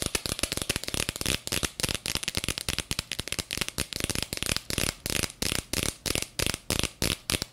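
A small clear plastic jar with a black lid, filled with purple glitter, is tapped quickly with long fingernails. The clip is a rapid stream of sharp, bright clicks that die away at once, blurring together at first and then settling into a steady rhythm of distinct taps.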